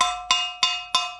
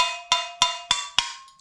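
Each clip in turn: First: kiln cookie still fused to pottery, rings. Second: ceramic kiln cookie coming loose, tone changed.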